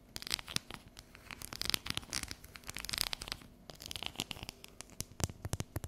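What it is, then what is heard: Dark chocolate bar tapped and scratched with fingernails. Long yellow nails tap and scratch the segmented surface of a solid, unwrapped bar of dark chocolate held and tilted over a counter. A quick, irregular run of sharp, bright clicks mixes with dry, raspy scratching. Each tap stops dead with no ring, over a quiet background.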